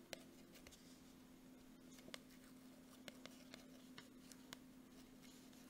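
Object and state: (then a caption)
Plastic squeeze tube. Long nails tap and scratch the front of a gold Jergens plastic lotion tube held in one hand. About nine sharp, bright clicks stand out over a soft, continuous scratching. The whole clip is quiet, with a steady low hum underneath.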